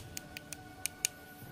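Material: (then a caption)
Iron ore. A rusting iron-bearing stone is tapped five times, giving short, bright, dry clicks that stop almost at once with no ring. Its tap sounds different from that of plain iron.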